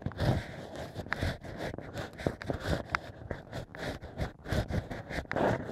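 Bamboo ear picks scrape inside the holes of a stack of drilled natural cork wine corks. The result is a run of soft, muffled, crackly scraping and rustling bursts with mostly low, dull tones and little brightness.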